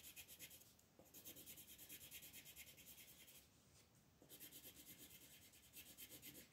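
A green wooden colored pencil is rubbed in quick strokes across a flat, thin paper coloring book page resting on a table, shading the leaves. The result is a soft, bright, scratchy rasping in a steady rhythm of back-and-forth strokes, with a brief lull near one second and a longer, quieter pause in the middle before the strokes resume.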